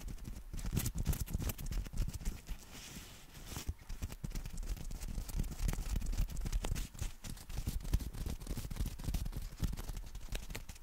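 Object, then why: Folded nylon fabric umbrella. A folded black nylon compact umbrella is held in both hands while fingertips and nails tap and scratch its fabric. Rapid, uneven soft taps with a dull low thump mix with brushing, scratchy rustles in a close, quiet, continuous texture.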